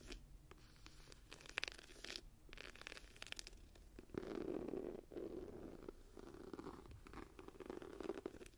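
Long nails scratch and tap the raised tree relief on an embossed leather journal cover held in both hands. The first half is a soft run of dry scratches broken by sharp, bright taps. After that, the nails drag in steadier, louder raspy strokes, with brief pauses between passes.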